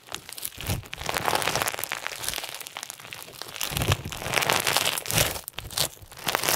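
Clear slime filled with pink and white plastic sequins is stretched wide and then squeezed with the fingers. It gives a dense, continuous crunchy crinkling and crackling that is bright and hissy, with soft low thumps underneath as the slime is worked. The sound rises and falls in waves throughout.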